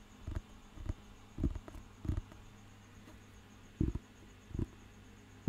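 Fingertips tap the cover and page edge of a thick, solid paper dictionary book. The result is a sparse series of soft, dull, low thuds that stop almost instantly, with quiet pauses between them over a faint low hum.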